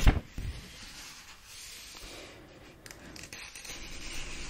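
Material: Paper.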